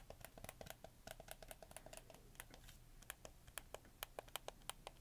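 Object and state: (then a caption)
Plastic game controller buttons clicking. Fingertips click the triggers, shoulder buttons and face buttons of a hollow, black hard-plastic PlayStation 4 controller in quick succession. Around thirty short, dry, bright plastic clicks sound in a quick, uneven rhythm, each dying away almost instantly over a faint low rumble.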